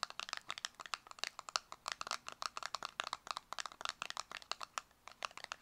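Long acrylic nails rapidly tap and scratch a small, closed, purple square cardboard cosmetic box. About 35 quick, dry, crisp clicks with a light papery scratch come through; they are bright and thin, with no low end, and each stops almost instantly.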